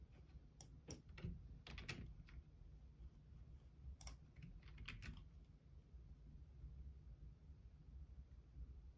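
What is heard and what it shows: Fingertips type on the left-side keys of a black plastic Logitech keyboard, producing short, bright plastic clicks in two loose clusters. A steady low hum sits underneath throughout.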